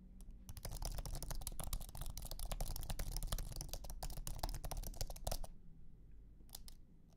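Fingertips type on a thin, low-profile iMac keyboard with an aluminum base and white plastic scissor keys. Quick, irregular, bright clicks run over a steady low rumble, stop at about five and a half seconds, then return as a few last taps near the end.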